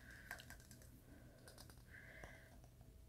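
Fingernails tap on the glass sides of a small purple glass candle jar filled with wax, held in the hands. The result is a quiet series of light, bright clicks, each with a brief glassy ring around 1.6 kHz that fades quickly, over a soft low background.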